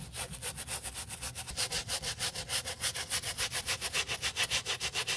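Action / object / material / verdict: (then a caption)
scrape / leather boot scrubbed with a bristle brush / leather / none. A small wooden bristle brush scrubs the heel and toe of a brown leather boot with a crepe sole edge, held in a gloved hand, to clean off dust. Quick, steady back-and-forth strokes, about three or four a second, make a bright, dry, hissing scratch with little low end.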